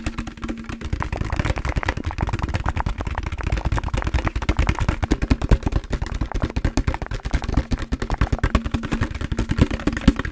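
A large, empty, hollow translucent green plastic jug with a green lid is handled, tapped with fingertips and moved around close in front of a microphone. Rapid, dense, low hollow thumps and clattering taps run continuously, with almost no bright content and very short decay.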